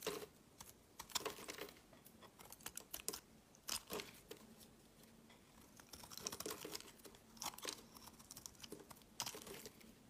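A metal blade shaves curls from the end of a solid, cream-colored rectangular bar of soap held in the hand. Short, dry, crisp scraping and crackling strokes come in irregular bursts, bright and airy with almost no low end. Each stroke stops quickly, leaving brief quiet gaps between them.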